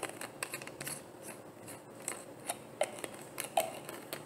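A hollow, frosted white plastic bottle is tapped and clicked with long painted nails. The result is a loose, irregular series of sharp, dry clicks with bright edges and very little ring, set against a soft hiss.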